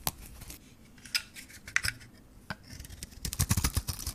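A hand-held solid Johnson's baby soap bar with a gold coating and a white core is shaved by a metal blade, which peels off the coating and the soap beneath. Short, dry scraping and crisp snipping sounds come in scattered bursts, sparse at first and then denser and louder toward the end. The strokes are bright with a low thud under some of them.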